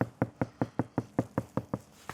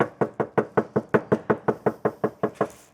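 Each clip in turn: First: soundproofed car door, deadened. Second: tinny, undamped car door panel.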